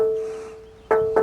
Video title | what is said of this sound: land rover series IIa hardtop for sale walkaround | as you can hear it rings nicely